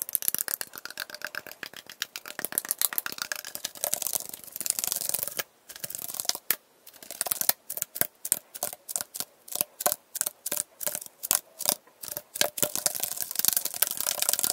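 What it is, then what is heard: Metal iced tea can. An Arizona iced tea can is tapped and scratched quickly, sped up to double speed. Dense, bright, rapid clicks and scratchy rasps fill the high range, broken by a brief pause and then a run of separate sharp taps before the fast scratching resumes.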